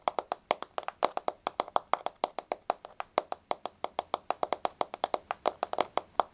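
Long blue-painted fingernails of both hands quickly tap a flat, solid wood-grain floor. A rapid, continuous stream of crisp, dry clicks with no ring, centred around a woody 740 Hz tone with bright high tips and no low end.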